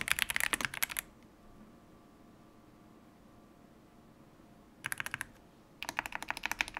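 Fingertips of both hands type on a full-size stock Yunzii YZ98 mechanical keyboard with plastic keycaps, captured on a microphone. Quick bursts of bright, sharp key clacks come at the start, briefly near the five-second mark, and again toward the end. Near-silent pauses with only low background hiss separate the bursts.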